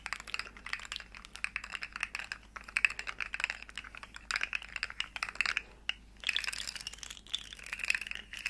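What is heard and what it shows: Long nails tap the segments of a small, hollow, rainbow plastic articulated slug fidget toy as it is curled and flexed. The result is a dense stream of quick, bright plastic clicks and crinkly rattles, centred around 2.6 kHz with almost no low end. The clicks pause briefly near the six-second mark, then pick up again.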